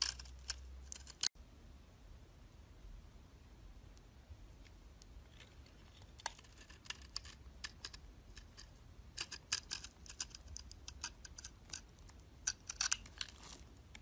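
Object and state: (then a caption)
Bar soap being shaved. A utility knife blade shaves curls off the surface of a solid cream-colored embossed bar soap held in the hand. Soft, bright scraping and crisp crackling ticks come in irregular bursts over a quiet low hum, with a brief drop to near silence just after the first second.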